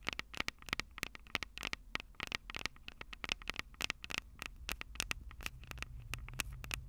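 Long purple nails on both hands tap rapidly on the hollow metal microphone capsule heads of a Tascam DR-05 recorder, producing a fast, uneven run of dozens of sharp, clicky taps. Each tap is dry and very short, with a bright ring near 2.2 kHz over a low rumble that grows steadier toward the end.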